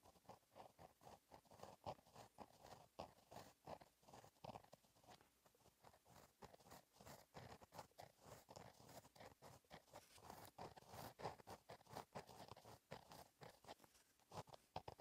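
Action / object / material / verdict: scrape / gel pen on a lined paper notebook page / paper / none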